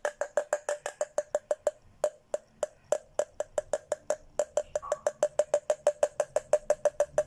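A thin red plastic straw taps the rim and sides of an empty, hollow pink Hello Kitty plastic tumbler about 40 times in quick, uneven bursts. Each tap is a short, dry, hollow click with a clear pitch near 600 Hz and almost no ring.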